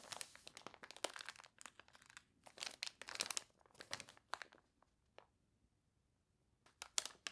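Long nails scratch and rub the wavy, glossy pages of a water-warped paper toy catalog. It makes quiet, bright, crisp crinkling and crunching bursts in quick clusters. A near-silent pause of about a second follows before a few more scratches end the clip.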